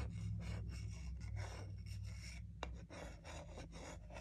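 A large solid wooden salad spoon, held in one hand, has its bowl rubbed and scraped with a matching wooden salad fork held in the other. Soft, dry rasping strokes repeat in a loose rhythm over a steady low rumble, with one brief sharp tick partway through.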